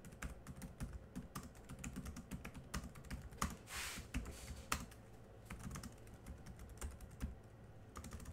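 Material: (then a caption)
Plastic. Rapid typing with the fingertips of both hands on a small silver laptop's solid keyboard of black plastic chiclet keys. It makes a quiet, steady stream of short, dull clicks that die away almost at once, with a low thump under each press and a light, bright tick on top. Around the middle a brief hiss swells and fades, then the typing carries on.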